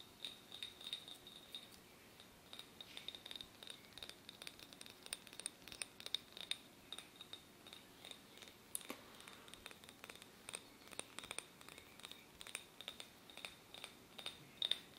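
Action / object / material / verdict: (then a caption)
tap / small glass tumbler / glass / none. A small, clear, empty and hollow glass tumbler is held in both hands close to the mic and tapped around its side and rim with short fingernails and fingertips. The result is a quiet, rapid, irregular stream of bright, clicky glass taps with a faint ringing tone near 3.6 kHz. Each tap dies away almost instantly, with very little low end.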